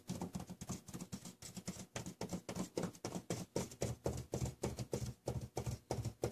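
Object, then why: Sheet of drawing paper on a hard table. Plastic felt-tip markers worn on the fingertips rapidly tap and dot a large sheet of drawing paper lying flat on a hard table, with loose stones sitting on the paper but not struck. The result is a quick, uneven run of soft, dull taps, heavy in the low end with a faint bright tick on each, that die away almost instantly.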